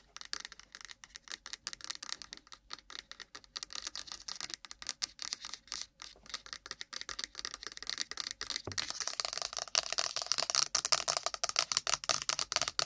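Long nails fast-tap on an iPhone's cardboard box, making a rapid, uneven stream of crisp, bright clicks with almost no low end. About two-thirds of the way through, the tapping becomes louder and denser, turning into a busier, slightly rattling patter.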